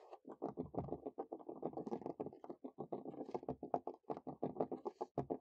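Natural fingernails scurry and tap quickly across the boards of a large, solid wooden picnic table top outdoors, close to the microphone. A rapid stream of short, dry, woody taps and scratches patters along, each dying away almost instantly, with energy mostly in the low-mid range around 700 Hz and faint bright scratchy edges.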